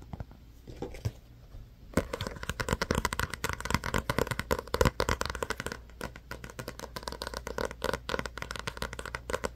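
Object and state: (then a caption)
Paperback book. A small paperback book with a glossy card cover, held in both hands, is tapped and scratched by fingertips and short nails. Faint, sparse scratching for the first two seconds gives way to dense, rapid, dry taps and scrapes with a papery midrange tone and very short decay. The tapping runs steadily to the end.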